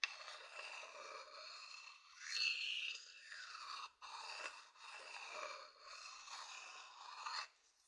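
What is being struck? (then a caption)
Wooden bowl. A thin wooden stick scratches a medium hollow wooden bowl in continuous passes, producing a dry, bright scraping texture with almost no low end. The strokes briefly swell louder and brighter near the middle, dip for a moment at about four seconds, then carry on before fading out.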